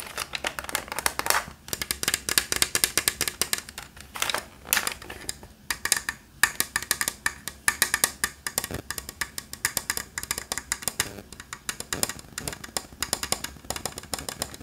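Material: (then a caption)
Plastic. A blue, white and orange hollow plastic Nerf toy blaster is tapped and drummed with fingertips on its body and its orange drum. The result is a fast, uneven stream of dry, hollow plastic clicks and knocks that are bright, with almost no low end. Each tap dies away almost instantly.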